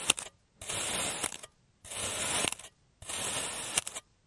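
A clear serrated plastic cutter slices thin layers from a solid oval block of blue kinetic sand molded on a green surface. A brief gritty crunch opens the clip, followed by three separate, sustained, bright, rasping scrapes, each about a second long with short quiet gaps between them.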